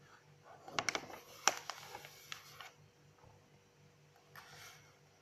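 Long acrylic nails and fingertips flip and brush the white pages of an open, medium-size paper notebook. Sharp, bright paper rustles and crisp taps cluster in the first few seconds. A quieter, softer brushing of the pages follows near the end over a faint steady low hum.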